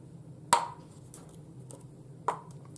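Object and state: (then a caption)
Empty ceramic mug set down on a table. An empty ceramic Princess Leia mug is set down twice on a table, each placement giving a sharp knock with a short hollow ring around 930 Hz. The ringing echo marks the cup as empty, unlike the more solid sound a cup of liquid would make.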